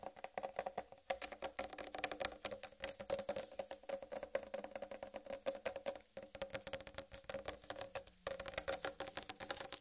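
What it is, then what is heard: Whole watermelon. Long red-painted nails tap quickly and continuously on a large, whole, uncut watermelon with a green striped rind. The result is a rapid, crisp patter of sharp clicky taps over a steady hollow mid tone, with bright edges and almost no low end. The taps stop briefly around the six- and eight-second marks.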